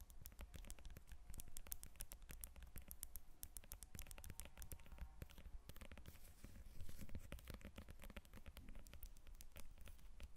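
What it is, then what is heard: Lemon. Long nails tap and scratch the peel of a whole yellow lemon resting on a table. Quick, dense clicks and scrapes mix with soft, low thuds, continuing steadily at a quiet level throughout.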